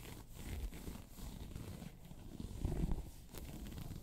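Long pointed nails scratch a round, hollow, tan crocodile-embossed faux leather handbag. The result is a steady, low, rumbling scrape with almost no high content, swelling into a louder, rougher stretch near the end.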